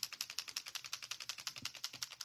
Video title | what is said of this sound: Easy Card Designs with Designer Series Paper - Sketch Layouts - Stampin' Up!® | You can hear the little ball in there. That's got a little, ball bearing in there, which helps to mix up the glitter with the alcohol solution.